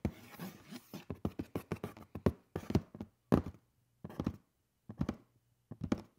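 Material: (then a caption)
Cardboard. Fingernails scratch along the lid edge of a hollow black cardboard shoe box lying on its side. The result is a quick run of short, dull, low-heavy scratchy taps that die away almost at once, breaking into smaller bursts with silent gaps between them.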